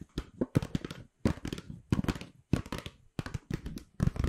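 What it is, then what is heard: Paper gift bag being scratched and crinkled. Long pink acrylic nails scratch and crinkle an empty white Pandora paper shopping bag with black rope handles, held close to the mic. Bursts of dry, papery crackles and scratchy taps come in quick clusters separated by short silences. The sound is close and heavy in the low end, with no ringing.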